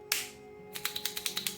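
A plastic glitter brush paint marker with a mixing ball inside is shaken again so the paint flows into the tip. One sharp, bright click is followed by a pause and then a quick run of rattling clicks as the ball knocks inside the barrel, ten hits in all. Afterwards the tip is well soaked with paint.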